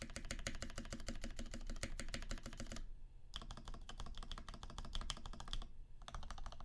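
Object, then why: Mechanical keyboard with PBT keycaps. A Percent Canoe 65% mechanical keyboard with a clear acrylic case, aluminum plate, cream PBT keycaps and filmed Alpaca switches lubed with 3204 is typed on, one hand's fingertips pressing individual keys and the spacebar. Rapid, steady clacky keystrokes with a deep, muted low end and short decay run in bursts, broken by two brief pauses.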